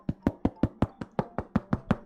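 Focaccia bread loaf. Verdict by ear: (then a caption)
Crispy. Eleven steady, evenly spaced knocks on a baked focaccia bread give short, dry, hollow thuds with a low body and almost no ring. The crisp knocks show the dark crust is crispy and baked through rather than burnt, passing the knock test.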